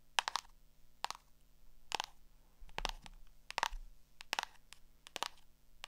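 Long acrylic nails tap and scratch the cover and page edges of a small black hardcover spiral notebook held in the hand. Sharp, dry, bright clicks come in quick clusters, with softer scraping between them. Each tap stops almost instantly with no ring.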